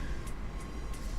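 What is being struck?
Nothing is struck.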